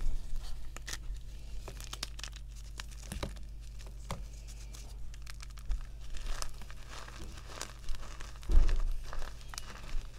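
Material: Chalk.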